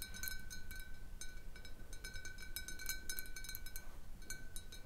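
Long painted nails tap a large, hollow, clear glass bottle with a little water at the bottom, resting on a wooden table. Quick, uneven clinks ring with a steady glassy tone near 1.5 kHz and bright overtones, each decaying fast over a low background rumble.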